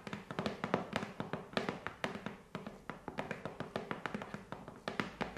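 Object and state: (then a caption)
Cardboard shipping box. Long nails tap and scratch the front and top of a taped, hollow corrugated cardboard parcel box resting on carpet. About 35 quick, dry taps follow one another over five seconds, each a short papery knock with a hollow mid-range body, mixed with light scratching between them.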